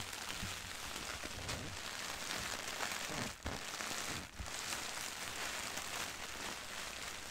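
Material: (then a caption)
Plastic. Long-nailed fingertips tap and lightly scratch a white printed soft plastic mailer bag, full of contents, lying on carpet. A steady, dense, bright crinkling rustle runs throughout, dipping briefly twice near the middle before resuming.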